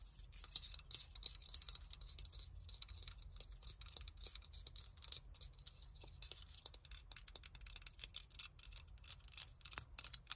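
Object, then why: Plastic claw hair clip. Long nails tap and scratch the surfaces and opening of a small black plastic claw hair clip with ridged teeth. The result is a quiet, rapid run of short, dry, bright clicks and scratchy taps with almost no ring, mostly in the high range over a faint low hum.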